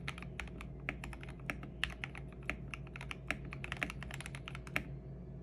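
Both hands type continuously with their fingertips on a lubed and filmed 65% custom mechanical keyboard with plastic MA-profile keycaps and a purple backlight. A rapid stream of short, crisp keystrokes clicks over a steady low hum, with a few louder, sharper presses standing out. Each strike dies away almost instantly.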